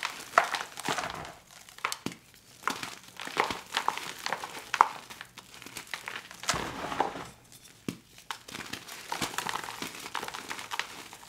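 Two bare hands squeeze, crush and rub a heap of soft, dry, glittery white gym chalk (magnesium carbonate) balls in a dark blue bowl, breaking the lumps into powder with fingers and palms. A steady run of dry, crumbly crunches and crinkles sounds, with sharper snaps as lumps give way and soft gritty rubbing in between. The sound is mid-to-high, with almost no low end and no ring after each crunch.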